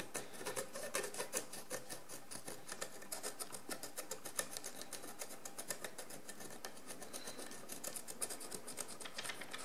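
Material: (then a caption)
Ceramic. A wooden stick scrapes the pale crust on a large, encrusted ceramic jar lying on its side, in quick repeated strokes. Each stroke makes a short, dry, bright rasp, and the strokes come in a steady but uneven stream at a low level. A faint, gritty patter stays underneath throughout.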